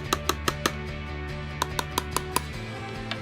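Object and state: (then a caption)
Laptop glass panel that sounds like plastic. Taps on the glass panel of an HP Envy laptop, first with a fingertip and then with a fingernail, give ten short, dry clicks: a group of four, a group of five, and one faint last tap. Each click carries a brief pitched ping near 1.2 kHz, dropping to about 1 kHz in the second group, and dies almost instantly over a steady low hum. The glass gives a thin, plasticky knock that sounds like plastic.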